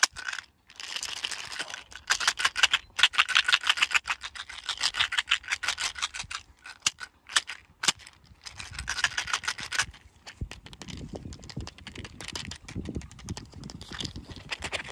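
A small, hollow white plastic pill bottle with a green screw cap, contents not visible, is held in the hand, shaken and tapped with fingertips. The result is fast bursts of bright, dry rattling and scratchy clicks with almost no ring, centered around 2.7 kHz. In the last few seconds, duller, lower tapping comes through beneath the rattle.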